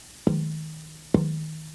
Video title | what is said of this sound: Luthiers | this is a really great piece of wood. I hear a lot of life in it.